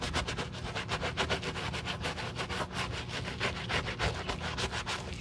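A gloved hand scrubs the upper of a white leather Saint Laurent low-top sneaker, a hollow shoe with a foamy upper, using a wooden-handled dark bristle brush. The wet brushing makes a steady run of quick, slightly uneven bristly rasping strokes, each bright and hissy over a low, soft thump from the hollow shoe.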